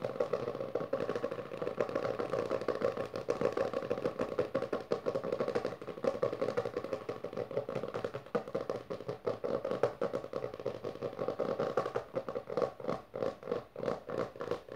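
Long nails and fingertips of both hands rapidly scratch and tap the textured maroon cover of a closed, solid hardcover book resting on purple fabric. The result is a dense, continuous stream of dry, mid-pitched scratching and clicking with short, quickly fading taps, growing more choppy and distinct near the end.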